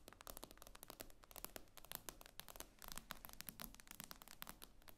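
Long acrylic nails tap rapidly on the glossy glass screen of a tablet lying flat on a table. The result is a quiet, dense stream of sharp, bright clicks that die away almost instantly, over a faint low hum.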